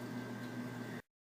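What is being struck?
Nothing is struck.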